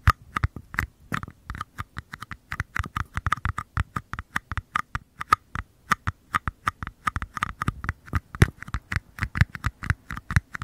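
Fingertips tap and scratch the outer walls of two identical small, empty, hollow paper cups held close to the microphone. A quick, uneven stream of dry, hollow taps follows, each with a soft low thump and a papery midrange click that stops almost at once, with light scratching in between.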